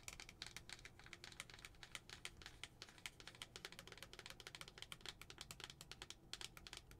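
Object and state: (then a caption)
Glass tumbler tapped with nails. Long nails, one finger wearing a plastic spider ring, tap quickly on the wall of a lidded glass tumbler with a paper pumpkin tag on the front, filled with white tissue. Dozens of rapid, bright, dry clicks centred around 2 kHz follow one another, each dying away almost at once over a faint low hum.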